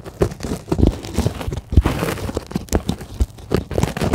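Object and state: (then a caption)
Polyethylene foam sheet. Long glittery acrylic nails scratch and tap the surface of a flat, soft, solid white polyethylene packing foam sheet lying on a table. The result is a quick series of dull, muffled taps and rough scratching crinkles, mostly low and soft, with very little brightness and no ring after each touch.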